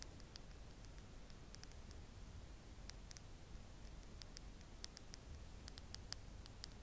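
Long acrylic nails tap along the slim pink handle and rose-gold metal ferrule of a makeup brush held in one hand. The result is a scattered series of soft, bright, very short clicks and ticks over a steady low rumble, all at a quiet level.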